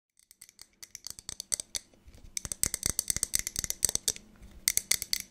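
Long nails tap fast on the sides of a medium clear glass jar with a lid and a small label, held in one hand beside the mic. About thirty sharp, bright clicks come in quick, uneven bursts, each dying away almost instantly with little low end.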